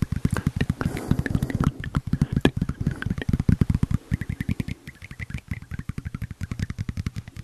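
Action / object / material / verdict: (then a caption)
tap / thin tempered glass screen protector / glass / none. A thin, flat, phone-sized tempered glass screen protector with a red tab is held in the hand and tapped and scratched with fingertips and nails. A rapid, steady stream of short, dull, low taps dies away instantly, with faint scratchy rustle between them early on and brief brighter clicks on some strikes.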